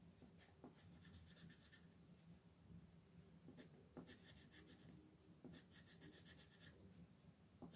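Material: Paper.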